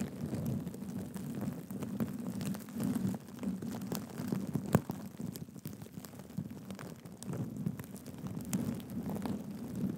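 Fingertips scratch and flip the sequins on a black and gold sequin cushion held upright. The result is a soft, continuous rustling centred low around 200 Hz, scattered with quick tiny clicks and one sharper tick near the middle.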